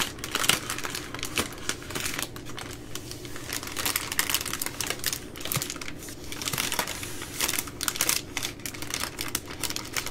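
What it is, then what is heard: Plastic-wrapped baby wipes pack. Long nails tap and scratch along the side of the plastic overwrap on a full three-pack of baby wipes resting on a wooden table. A steady stream of quick, bright crinkles and clicky taps runs throughout, with the crackle peaking in several louder bursts.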